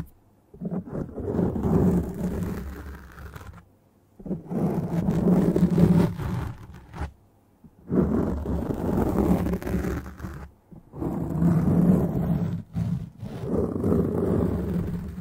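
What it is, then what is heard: Foam microphone windscreen being scratched. Long, dark-painted nails of one hand quickly scratch a black foam windscreen on a microphone. Several bursts of dense, muffled scratching, heavy in low rumble, are separated by brief silences, with no bright content.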